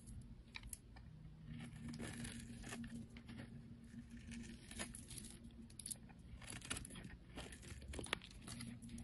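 A snap-off blade shaves the surface of a solid oval green soap bar held in the fingers. It makes quiet, dry, crinkly scraping strokes with bright crackles over a steady low hum.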